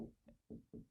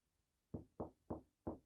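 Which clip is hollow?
The first.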